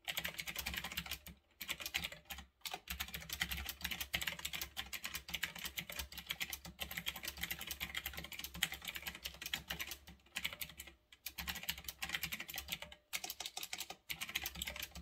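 Fingertips type fast on a retro typewriter-style mechanical keyboard with round backlit plastic keycaps, resting on a desk. A dense stream of crisp, bright, clicky keystrokes rattles on with a few brief pauses, each key snapping short and dry over a faint steady low hum.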